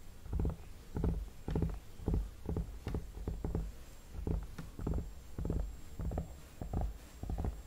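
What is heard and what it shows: Fingertips tap and rub the cheeks and temples near the hairline of a hollow vinyl mannequin head. The result is a steady run of soft, muffled, low thuds mixed with brushing swishes, each burst short and dull with little brightness.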